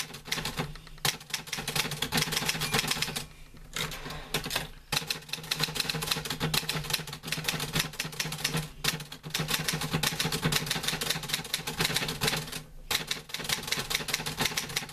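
A green-grey metal portable manual typewriter with paper loaded is typed on with fingertips, giving a steady stream of sharp, bright key clacks. Brief pauses break up the typing, and a faint low hum sits underneath throughout.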